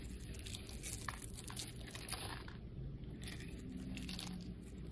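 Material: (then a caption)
Soap. A solid cream soap bar with a rainbow-colored carved surface, held in the hand, is scraped and shaved with a metal blade. The result is a steady run of soft crunching and crinkly scraping over a low rumble, with brief bright crackles as the blade cuts.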